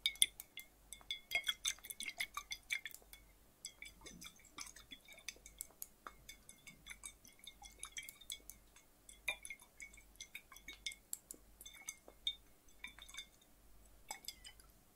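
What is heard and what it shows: A flat, clear, hollow glass bottle, partly filled with water and held in the hands, is tapped with the fingertips and tilted or shaken so the water moves inside. Quiet, rapid, bright glassy clinks with a high ringing tone come in uneven bursts, each dying away almost instantly. Faint sloshing sits underneath.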